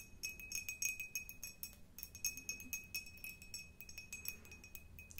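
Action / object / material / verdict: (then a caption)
tap / cut glass jar / glass / none. An empty, hollow, tall clear glass jar with a diamond-cut pattern, held in the hands, is tapped with long nails in quick, irregular bursts. Each tap gives a bright, glassy clink with a short ring and a steady tone near 2.5 kHz over a faint low background hum.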